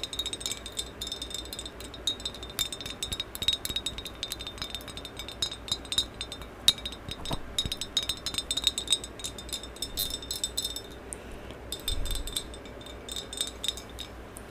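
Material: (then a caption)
Ceramic. Long acrylic nails tap and scratch rapidly along the body of a medium maroon glossy ceramic vase with a black band, hollow and held in both hands. Dense, bright clicks and scrapes come in quick irregular bursts over a faint high ringing tone that fades near the end, each tap dying away almost instantly.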